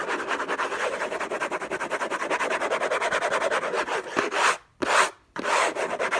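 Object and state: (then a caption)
Cardboard gift box scratched. Fingertips and short nails scratch the lid of a closed, long rectangular orange Hermès gift box made of cardboard covered in textured paper, its contents unknown, lying on a fluffy blanket. A fast, dense, rasping scratch with no low end runs steadily for about four and a half seconds. It then breaks into two short, separate bursts divided by brief silences.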